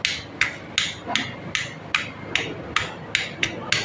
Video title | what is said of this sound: MiO i 125 issue katok overhole | Ayan, maingay. Yan yung naingay sa kanya nung siya inaandar, nung dinala rito.